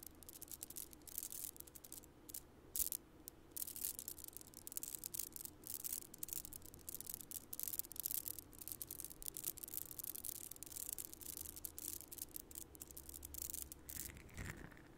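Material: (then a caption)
Plastic. A long strand of shiny purple plastic beads on a necklace is handled and rubbed between the fingers in front of the mic, so the beads clack together. The result is a quiet, continuous stream of bright, crisp clicks and rattles over a faint low hum, with the beads shifting irregularly throughout.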